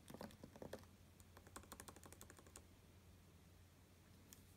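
Fingertips type a steady run of light taps on the low-profile plastic keys of an open space-grey aluminum MacBook Pro resting on a grey fabric surface. The quick, soft clicks come in a dense flurry for about two and a half seconds, then the keyboard falls quiet apart from one more faint tap near the end.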